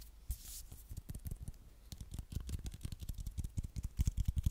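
A medium silver-beige hollow aluminium aerosol spray can with a white plastic cap is held in one hand and scratched and tapped along its body with long nails. Quick, dry taps and scrapes come in an irregular stream, mostly low and dull with bright scratchy edges and almost no ring. A brief bright hiss comes near the start, and the taps grow louder toward the end.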